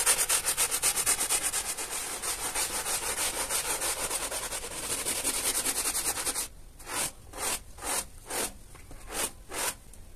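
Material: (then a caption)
Textile. A small teal hand brush scrubs a flat pile carpet that is wet with soap foam and laid on a plastic sheet, moving in straight back-and-forth strokes while the other hand steadies the carpet. For about six seconds the strokes come fast and run together into a dense, bright, wet rasping hiss. They then slow into separate, distinct swishes with quiet gaps between them.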